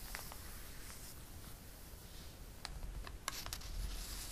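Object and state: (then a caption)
Glossy paper catalog being rubbed. Fingertips and a flat palm rub and smooth the coated pages of an open glossy paper catalog. The result is a soft, steady papery swishing, broken by several bright, sharp crinkles and ticks, with a low rumble underneath.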